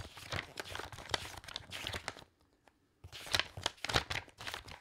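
A thick bundle of aged, loose paper pages is held upright on the stack and riffled with the thumb and fingertips, like shuffling cards. The result is a run of quick, bright, crisp flicking and rustling bursts for about two seconds. After a brief near-silent pause, a second run of riffling follows.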